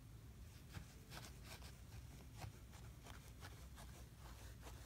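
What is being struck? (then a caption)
Kinetic sand in a plastic tray. A hand-held small plastic tool scrapes and cuts lines into a flat layer of kinetic sand in a blue plastic tray. Quiet, repeated soft gritty scraping strokes sit over a steady low rumble.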